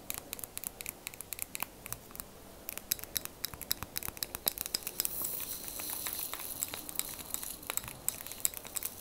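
A small clear plastic liquid motion timer filled with red liquid is held in the hands and tapped and scratched with long plastic fake nails. A quiet, steady stream of sharp, bright clicks and taps follows, and a softer scratching hiss swells in the middle.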